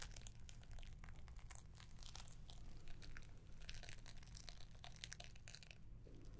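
A small rectangular gift box wrapped in dark green paper with a gold ribbon bow is held in one hand and scratched and tapped with long painted nails. Quick, close crinkles and taps of the paper rise and fall continuously over a steady low hum.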